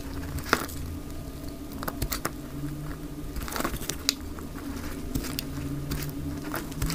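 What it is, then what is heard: Dry soap bar shaved with a blade. A utility knife blade shaves long strips from the sides of a dry, light green bar of soap. Sharp, dry scraping clicks and crackles burst out at irregular moments over a steady low hum.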